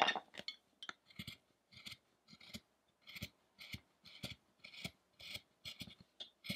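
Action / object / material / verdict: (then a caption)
scrape / carved wooden statue / wood / none. A small chisel cuts into the ribs and chest of a solid, pale carved wooden Buddha statue lying on a table among wood chips. The clip is a steady series of short, crisp scraping cuts, each one a brief bright rasp with a faint low knock, separated by quiet pauses.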